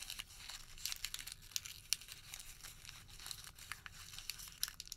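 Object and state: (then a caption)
Thermal paper receipt. A white thermal paper receipt is crumpled into a ball and then unfolded between both hands. The result is a steady run of quiet, bright, crisp crinkles and sharp crackles with almost no low end.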